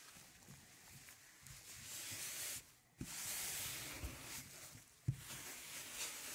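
A 12-inch black PVC vinyl LP with an orange label, a thin solid plastic disc, lies flat on a velvet tablecloth while one gloved hand holds it and the other rubs a record cleaning brush along the grooves. Bright, hissy brushing strokes sweep back and forth over soft low rumbles, broken by two brief quiet gaps that each end in a sharp tap as the brushing resumes.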